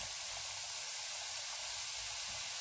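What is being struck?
Nothing is struck.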